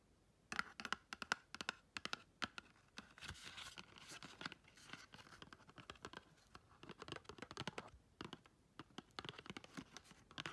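Long red chrome nails tap and scratch across the faces and edges of a small pink and gold patterned, paper-covered cardboard gift box that is likely hollow. Quick, dry taps with a papery ring around 1.4 kHz come first, then a stretch of bright, brushy scratching. After that, a rapid mix of sharp taps and crinkly scratches continues to the end, each hit dying away almost instantly.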